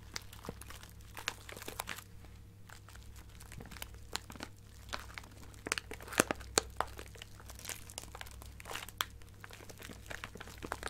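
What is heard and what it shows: A small clear plastic bag partly filled with colorful plastic sequins is scratched and squeezed with long nails. Quick, bright crinkles and clicks come in uneven bursts over a low steady hum, and the sequins rustle and shift inside the bag.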